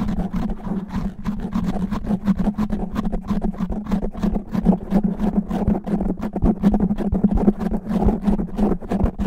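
Natural fingernails on both hands scratch fast and aggressively over a black foam microphone windscreen. A dense, continuous rough scratching and rubbing fills the clip with heavy low rumble, a steady hum-like tone around 200 Hz, and little high-end content.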